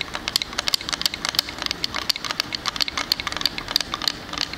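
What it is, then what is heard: Wooden plank sign tapped with fingernails. Fingernails tap and scratch a small square wooden wall sign reading "Sleigh bells ring," with a plank face and frame, close to the microphone. Quick, crisp, bright clicks come in a rapid, uneven stream over a soft scratchy hiss, each tap dying away almost at once with very little low end.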